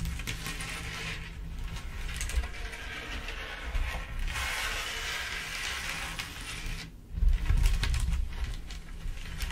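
Long acrylic nails on both hands tap and patter across a large flat black surface covered in small clear acrylic or glass rhinestones. The sound is a steady stream of light, bright clicks over a heavy low rumble. It dips briefly near the seven-second mark, then returns louder.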